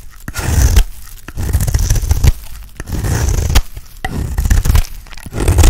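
A small metal knife blade scrapes across the face of an oval, pale green, palm-sized dry soap bar held in the hand, shaving off curls. Repeated scraping strokes come as rough, low-heavy rasping bursts with a bright hiss on top, broken by sharp dry clicks as the blade catches and releases.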